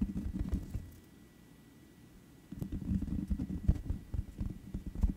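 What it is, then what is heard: Metal mesh microphone grille. Long nails and fingertips tap the hollow metal mesh grille of a black microphone, producing rapid, muffled low thumps and light clicks. The tapping runs for under a second, stops into a quiet stretch, then resumes in busier, uneven bursts until the end.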